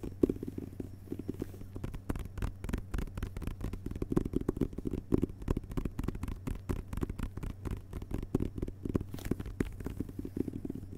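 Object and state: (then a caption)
Hardcover book with paper dust jacket. Fingertips of both hands tap and scratch the front cover of a hardcover book with a glossy paper dust jacket lying flat on carpet. The result is a steady, rapid run of soft, dull taps with faint papery scratching between them, mostly low and muffled, each tap dying away almost instantly.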